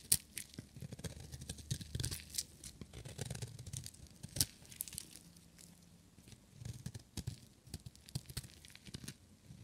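A small, solid blue-and-white striped bar of dry soap, held in one hand, is shaved and scraped with a metal utility-knife blade, and flakes fall off. The blade makes a rapid run of crisp, dry tearing and crunching scrapes with a bright hiss. A soft low rumble runs underneath, and a few sharper strokes stand out.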